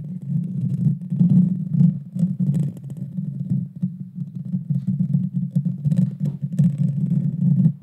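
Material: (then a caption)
Metal mesh. Long dark fingernails of both hands scratch the hollow metal mesh grille of a Blue Yeti Nano microphone. The scratching comes through as a dense, deep rumbling roar centred low around 150–200 Hz. It surges and dips continuously, with faint, bright crackles flicking over the top.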